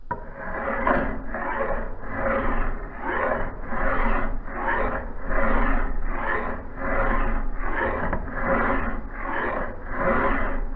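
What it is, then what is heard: Steel axe head being filed. A hand file is drawn back and forth along the cutting edge of a solid steel axe head held in a bench vise on a blue cloth. The result is a steady series of rough, grinding metal-on-metal rasping strokes, each swelling and fading, with a faint bright hiss riding above.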